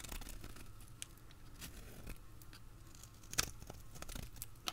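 A utility blade scrapes and cuts crunchy shavings from the end of a hand-held, solid dried green soap bar. Quiet, irregular crisp scraping and crackling is punctuated by sharp, bright snaps, over a soft low rumble.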